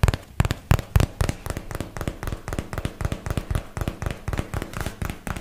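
The large flat face of a paperboard product box is tapped rapidly with fingertips and nails, giving about 26 short, dull, low thuds with almost no ring. The first few taps are heavier and boomy; the rest settle into a quicker, softer, uneven patter.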